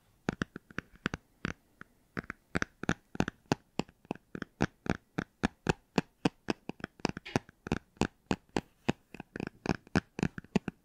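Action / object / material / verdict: tap / hardcover book, cloth-covered board / cardboard / none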